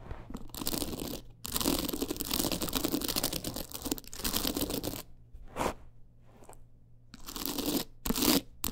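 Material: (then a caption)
Rhinestone. Long nails scratch fast across the stones of a teal rhinestone-studded clutch wallet with a gold frame, making dense, bright, gritty rasping in long bursts. The bursts are broken by short pauses, and a quieter stretch of lighter scratches comes near the end before a final loud flurry.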